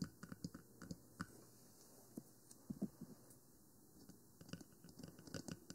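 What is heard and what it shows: Long nails tap the top and side of a 3Dio Free Space, a small hollow black plastic binaural microphone with silicone ears. The result is quiet, irregular bursts of dry, hollow clicks with a low knock and brief bright ticks, each dying away almost instantly, with a quieter pause in the middle.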